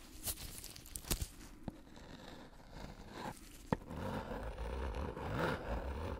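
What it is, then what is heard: Paper-wrapped soap bar. A metal tool with a knurled handle scrapes and taps across a hand-sized, solid Coast soap bar still in its paper/cardboard wrapper with tape and red writing, held in a black-gloved hand. Dry, papery scratching runs throughout, broken by short, crisp taps. The loudest tap comes midway, followed by denser, rougher scraping to the end.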